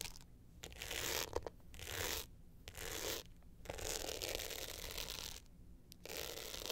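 An upright glitter hard-shell clutch with a metal frame is scratched by long nails across its glitter face and along the metal frame edge. The result is bursts of bright, gritty rasping, with brief quiet gaps between the strokes.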